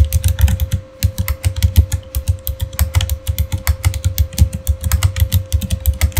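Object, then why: Plastic mechanical keyboard. Fingertips type steadily on a backlit Razer Fire mechanical keyboard with plastic keycaps, producing a rapid, continuous run of short, deep-thudding key clicks with bright, sharp tops. A faint steady tone hums underneath throughout.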